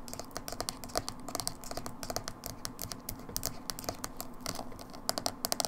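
Long fingernails tap quickly and repeatedly on the labeled side of a small, hollow, dark blue plastic Manic Panic hair dye tub held sideways. The result is a rapid, uneven stream of light, bright, clicky taps with a faintly hollow plastic tone. Each tap dies away almost instantly over a low, steady background.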